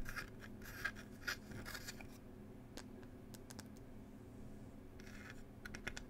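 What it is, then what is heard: Wooden tea box. Long pointed nails quickly tap and scratch across the wooden lid of a small wooden "Cherry Tea" box. Soft, rasping scratch bursts alternate with sharp, dry clicks in an irregular rhythm over a low, steady hum. The overall sound stays quiet and close.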